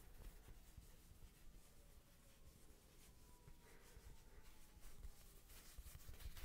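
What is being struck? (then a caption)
Woven fabric coaster. Fingertips rub and scratch across the woven surface of a small, thin, solid square rug-style coaster with a red patterned fabric face, held in both hands. It makes a quiet, continuous scratchy texture with faint bright hiss and low rumble, growing slightly louder and brighter toward the end.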